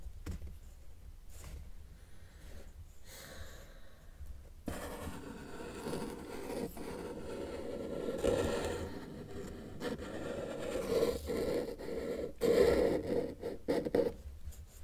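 A felt-tip marker tip is drawn across a flat white sheet of paper on a table while sketching an elephant's ear and trunk. Soft, scratchy rubbing strokes start faint and become steadier and louder after the first few seconds, with a midrange squeak-like tone that comes through on the firmer strokes.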